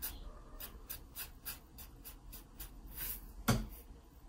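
A wooden pencil, held at an angle, scratches shading strokes across the page of an open paper sketchbook. A quiet, steady run of short, bright, papery scratches repeats in quick succession. Near the end comes one sharper, louder stroke with a soft low thud.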